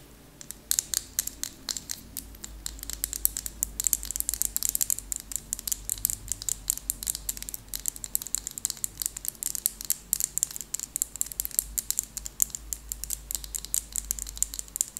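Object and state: Plastic lip gloss tube.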